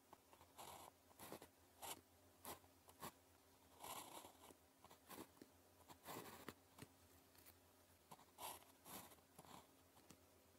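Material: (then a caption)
Paper. The tip of a blue plastic ballpoint pen, held in the fingers, writes on a thin grid-printed paper calligraphy practice sheet lying flat on a desk. About a dozen short, bright scratching strokes come in quick bursts over a faint steady low hum, each stopping dry with no ring.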